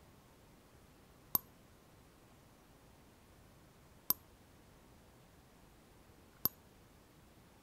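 An empty, hollow clear glass cup with a handle is held tilted in the hands and tapped with long fingernails around the rim and side. Three short, sharp, bright clinks ring out, widely spaced, each dying away almost instantly over a faint quiet background.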